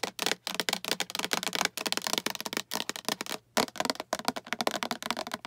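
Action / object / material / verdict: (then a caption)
tap / plastic storage box / plastic / none. Long acrylic nails tap rapidly on a hollow, translucent green plastic storage box with a patterned side and a latch handle. The taps are bright, dry clicks that die away almost instantly, coming in quick runs broken by short pauses.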